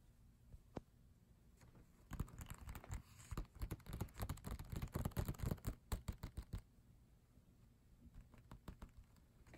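Fingertips tap quickly on the glossy paper pages of a photobook, beginning with a few isolated soft taps and then breaking into a dense, uneven run of dull, short, low taps with a faint papery crackle. The tapping then thins out into lighter, scattered taps over a quiet background.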